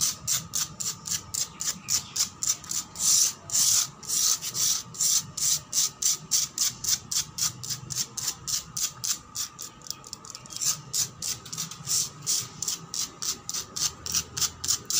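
Long black pointed nails rapidly scratch a solid, weathered concrete floor. The result is a fast, uneven series of short, bright, raspy strokes, with almost no low end and a steady faint tone beneath.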